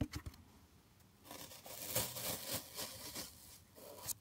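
A large solid block of green floral foam with finger-pressed dents is held close to a microphone and scratched and rubbed with fingertips and nails. Soft crumbly scratching rises after a quiet start into dense, bright, crackling scrapes with a few sharper bursts. There is short, dry friction noise with a faint low rumble beneath.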